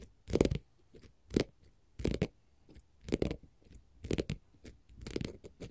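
Long pointed gold metal finger-jewelry nail caps scratch and tap a flat green glitter faux leather sheet lying on a table, which is solid. The result is a series of short, separate, dry crunchy scrapes and taps with a low-mid body, little high content, and almost no ring, separated by quiet gaps.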